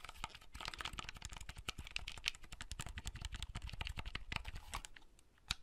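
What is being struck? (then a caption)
Plastic clamshell handheld console. Fingertips rapidly click the buttons of a small, hollow red plastic clamshell handheld console and open or close its hinged lid. The result is a dense run of short, dry plastic clicks and taps with bright edges and a low thump underneath, ending with a sharper snap near the end.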